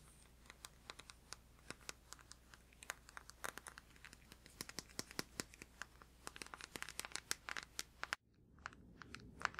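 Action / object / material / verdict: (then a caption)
tap / plastic deodorant stick / plastic / none. Fingertips and nails tap rapidly on the surface of a blue plastic deodorant stick held up in the air, making dozens of quick, dry, bright clicks over a faint steady low hum. Near the end the background hum drops away, and a few more light taps follow against a quieter, softer rustle.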